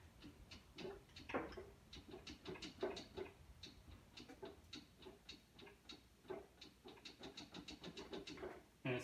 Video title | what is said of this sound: Part 2. Modern Independent Front Suspension. Frame prep for IFS, clean welding. 1950 Willys Jeepster | it is really sloppy there's a lot of play in that gear and it sounds empty too